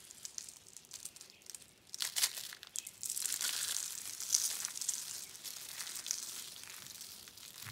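Yellow, orange and blue dried soap-curl roses, rolled from thin dry soap-curl rings, are squeezed and crushed by hand into flakes on a dark mat. Quiet, sparse crinkling ticks build into dense, bright, papery crunching and crackling, louder bursts after two seconds and then a sustained crunch, with almost no low end.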